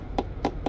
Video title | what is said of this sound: THOR ACE 30.2 ROTTEN floors, MOIST walls, MUSHY slides~ A Beautifully Staged Money Pit! BEWARE | That's hollow, there's nothing. So the floor is gone and the wall is gone.